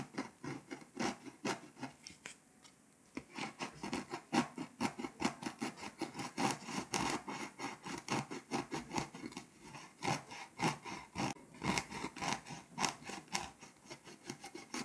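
A scraper tool rubs and scratches the foil coating off Hungary on a flat, foil-coated paper scratch-off map, revealing yellow print underneath. The sound is a rapid series of short, dry rasping strokes with a bright, papery hiss, repeating steadily with only a brief pause near the start.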